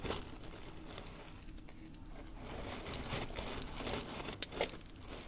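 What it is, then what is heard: Coarse salt crystals. Fingertips of both hands rake and rub through a layer of loose, coarse pink salt crystals spread on a dark tray. The result is a steady, gritty crackling and crinkling with bright, sharp ticks of grains shifting over a low rumble. Two louder scrapes stand out near the end.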